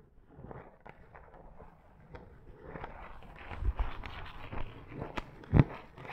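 Long acrylic nails scratch a soft, fluffy pink faux fur pad, making quiet, muffled rustling strokes. The scratching grows busier and a little louder partway through, with a few sharper, brighter bursts and one low thump near the end.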